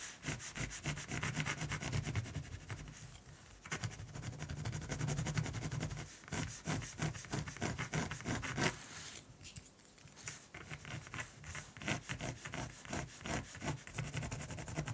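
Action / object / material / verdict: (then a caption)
scrape / mechanical pencil on primed cotton canvas / canvas / none. A black mechanical pencil tip shades the beak of a raven drawing on a flat, solid white primed cotton canvas resting on a cream paper sheet. Repeated rubbing and scratching strokes make a dense, brushy scraping with a low hum underneath and bright grainy detail on top. The strokes run in quick uneven bursts throughout, with brief pauses.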